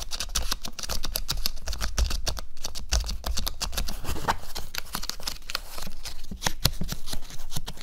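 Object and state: Hollow stretched cotton canvas, back side.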